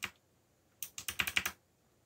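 Fingertips press the keys of a backlit mechanical computer keyboard with black plastic keycaps. One bright, short click is followed by a pause, then seven quick typing taps in a row. The clicks are crisp and high-pitched and die away almost instantly.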